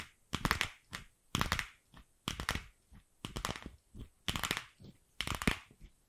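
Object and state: Hollow plastic ball.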